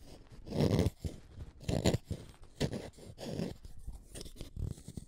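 A utility knife blade scrapes the lead of a wooden orange colored pencil, and pigment dust collects on the blade. Irregular, rough, crunchy scraping strokes rasp in short bursts with quiet gaps between them.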